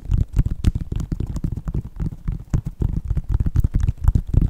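Fingertips and nails tap and scratch the synthetic leather upper and purple foam/rubber sole of a hollow white Nike sneaker. The result is a quick, irregular stream of dull, low thumps with a faint scratchy edge, each dying away almost at once.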